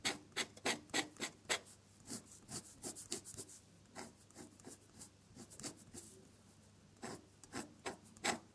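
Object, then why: Drawing paper scratched by a metal dip-pen nib. A metal dip-pen nib loaded with red ink scratches across a sheet of drawing paper while drawing another flower, the nib staying on the paper throughout. About twenty-one short, bright, raspy strokes come in a quick, uneven rhythm, with quieter stretches of fine scratching between the louder bursts.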